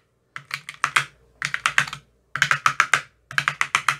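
A thin metal rod with a white tip taps the cells of an empty, clear plastic ice cube tray with green silicone cell bottoms. Twenty-one quick, bright, clicky taps come in four rapid bursts, each tap dying away almost at once. The taps have a hollow, plasticky tone with little low end.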